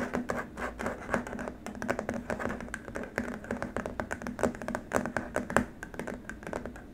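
Both hands tap and rub with fingertips and short nails on a long, flat, white plastic keyboard wrist rest. Dense, rapid, dry clicks and soft scratching sounds overlap continuously over a faint steady low tone. Each tap is short and dies away almost instantly.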